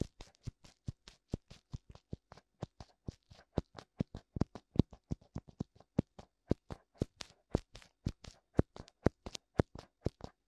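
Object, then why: Silicone ear of a binaural microphone. Fingertips tap and rub both hollow white silicone ears, complete with ear canals, on a black binaural microphone. The result is a fast, steady run of soft, dull thumps with very little ring, each tap also carrying a faint bright rustle.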